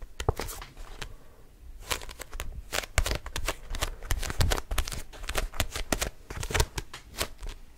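A small red-orange paper paperback book is held close to the mic while fingertips grip, bend and flick its pages and cover. It makes a dense run of crisp, papery rustles and riffles broken by sharp, bright flicks and snaps over a soft low rumble.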